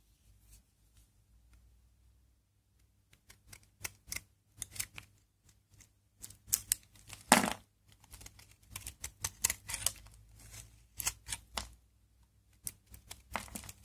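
A utility knife blade shaves and scrapes thin, crunchy flakes off a hand-sized, dry, hard Aleppo soap bar of olive-laurel soap with a brown crust, held in the palm. After a quiet start while the bar is only held, dozens of short, dry, bright scraping crackles come in irregular bursts with almost no ring.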